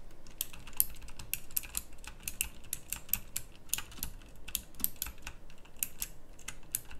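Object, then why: Plastic mechanical keyboard with round keycaps. Fingertips type steadily on a pink backlit plastic mechanical typewriter-style keyboard with round plastic keycaps. A continuous stream of short, crisp, bright clicks runs throughout, each dying away almost instantly over a low background rumble.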